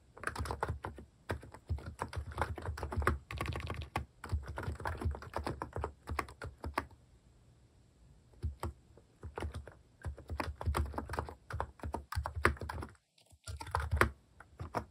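Fingertips type continuously on the left-side keys of a compact plastic mechanical keyboard fitted with pink and cream plastic cat keycaps. Rapid, deep, muted clacks fill the clip in bursts, with a quieter stretch around the middle and a brief silence near the end.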